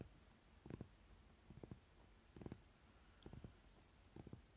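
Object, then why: Paper playing card deck. Fingernails scratch along the layered edges of a stack of paper playing cards held in the hand. Several short, quiet, rough scratching bursts come at uneven intervals, separated by near-silence.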